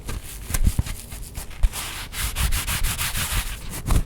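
A rough scrubbing side of a kitchen sponge is scratched and rubbed in a steady series of short, raspy strokes. The scraping has a papery, sanding-like texture with a low, soft thump under each stroke.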